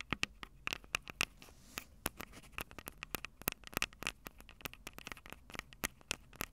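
Long purple nails scratch and tap on the metal mic capsules and plastic sides of a small Tascam DR-05 handheld recorder. The result is a rapid, uneven run of sharp, dry, bright clicks, each with a faint metallic ping near 2.7 kHz, over a soft scratchy hiss between taps.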